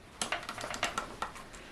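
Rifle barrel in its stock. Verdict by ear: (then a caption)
Loose. A Savage 64 rifle is shaken, and its barrel, which is not tight in the stock, rattles in about nine short, bright clicks. The rattle confirms the barrel is loose and not secured to the stock.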